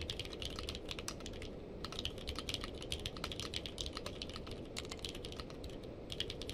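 A purple-case mechanical keyboard with plastic keycaps is typed on with two-handed fingertip typing. A rapid, steady stream of short, bright clacks runs throughout over a constant low background rumble, each keystroke dying away almost instantly.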